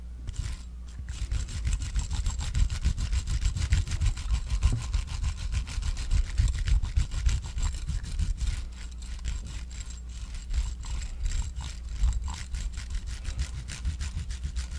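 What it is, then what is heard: Silicone facial cleansing brush. A metal claw tool rubs and scratches across the soft silicone bristles of a small pink facial cleansing brush held close to the microphone. The result is a continuous stream of quick, uneven scratchy strokes with a heavy low rumble around 105 Hz and faint high crackle on top, rising and falling in loudness throughout.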